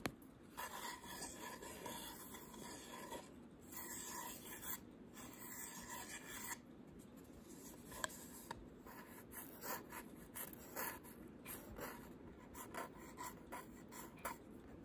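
Short pink nails rub and scratch the edges and front of a small wooden camera-shaped photo frame held in the hands. The result is a quiet, steady rasping scratch broken by faint, brief ticks as the nails catch the wood.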